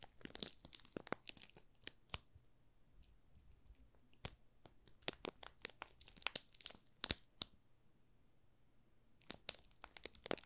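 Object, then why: Soap bar wrapped in thin plastic film. A small solid yellow soap bar wrapped in thin clear plastic film is pressed and rubbed on top with thumbs. The film crinkles and crackles in quiet, sharp, bright bursts with short pauses, then goes nearly silent around the eighth second before the crinkling resumes.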